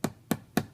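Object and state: Thick solid wood panel, dull and non-resonant.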